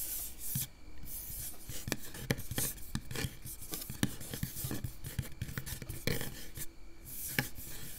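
Long acrylic nails on both hands scratch and rub across the round, hollow metal mesh grille on top of a microphone, heard up close. The result is a steady, dense rasping scrape, heaviest in the low end, broken by frequent sharp ticks and brief bright hissy bursts as the nails drag over the mesh.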